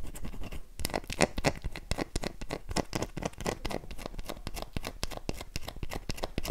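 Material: Soap.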